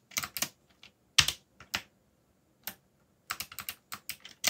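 Fingertips type on a backlit black mechanical keyboard with plastic keycaps, tapping the keys down in bursts separated by short pauses. Each keystroke is a short, bright plastic click that dies away almost at once, with very little low end.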